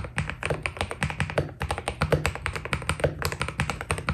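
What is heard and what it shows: Fingertips type steadily on a white Keydous NJ80 mechanical keyboard with PBT plastic keycaps, producing a rapid run of short, dry key taps. Each press has a deep, low body with a brighter click on top and dies away almost at once.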